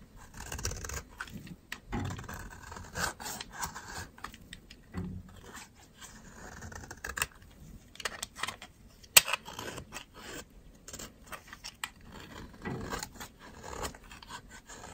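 A metal utility knife blade shaves the edge of a thin, solid, dry white soap bar, turning it into dry powder. Quiet, bright scraping and rasping strokes come in short, uneven bursts, with one sharper click partway through.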